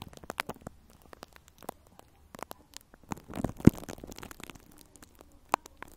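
Fingertips and long nails scratch and tap plastic cling film wrapped over a round metal microphone grille. Quick, dry taps and crackly scratches come in a scattered patter, with a denser crinkling rustle and one sharper, louder tap in the middle. The sound stays soft, low and muffled throughout.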